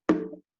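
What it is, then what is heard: Resonant ukulele tonewood. A single tap on a wooden ukulele body made of thin tonewood, the way makers once tapped wood to grade it as A or B stock, gives a short hollow knock. It rings with a clear resonant tone around 300 Hz that fades in under half a second, showing the resonant wood.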